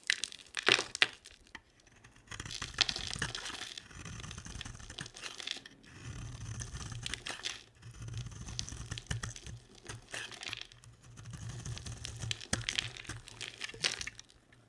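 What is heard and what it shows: A box-cutter blade scrapes crumbly chips off a solid, dry, hand-sized purple and pink bar of soap held in the hand. It makes bright, crisp crackling and crunching scrapes in repeated bursts over a faint low rumble. The brittle soap breaks away with dry, crumbling crackles.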